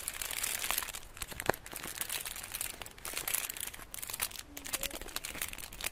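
Fingertips and painted nails rub, scratch and tap the gold foil wrapping of a solid rectangular chocolate bar held in the hands. Steady bright crinkling and scratching fill the clip, with light taps and one sharper click rising out of the quiet rustle.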